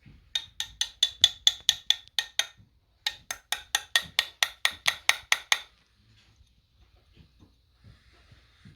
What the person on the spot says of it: it does not seem metal. It's not metal for sure